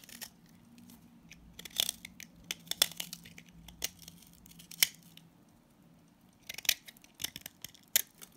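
A utility blade cuts and scrapes crumbly shavings from an orange solid salt scrub soap bar held in hand. Sharp, bright, crisp scrapes and crunchy crackles come in irregular bursts over a faint low hum. Each bite stops almost instantly, leaving short gaps of quiet between the strokes.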